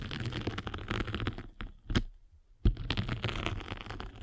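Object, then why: Foam sanding sponge with abrasive surface. A spiked derma roller is rolled across the abrasive top of a flat gray and blue foam sanding sponge held in the palm. It makes a dense, crackly scratching that breaks off into near silence midway, with one short burst. A sharp knock brings back the steady gritty crackle.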